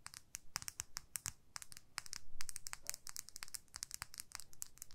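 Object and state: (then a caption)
Plastic lip gloss tube. Long nails scratch and tap along a small clear plastic lip gloss tube filled with pink gloss. The result is a quiet, irregular stream of quick, bright clicks and scratchy, crinkling ticks, each one dry and short with almost no ring.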